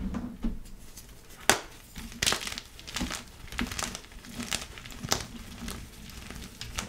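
Both hands press down with fingertips and thumbs on a light blue solid pasted gym chalk block of magnesium carbonate, sitting in a pile of chalk powder with a larger glittered block behind it. The chalk crushes and crumbles in a series of crisp, bright crunches and soft gritty crackles that stop dead with no ring.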